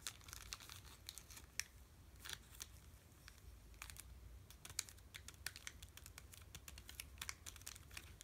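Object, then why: Sealed chocolate bar in a plastic wrapper. A sealed Hershey's Cookie Layer Crunch bar in a plastic wrapper is held in both hands and tapped and crinkled with the fingertips. Quick, crisp, bright crackles and taps come in irregular bursts, each dying away almost instantly over a faint, steady low hum.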